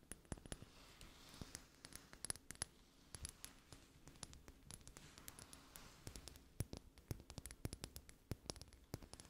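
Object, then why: Small glass dropper bottle. A small amber glass dropper bottle with a gold metal collar and white rubber bulb, filled with golden oil, is held in both hands and tapped with long manicured nails. Quick, irregular clicks and taps with a bright, glassy ring come in clusters over a soft, low background hush. Each tap dies away almost instantly.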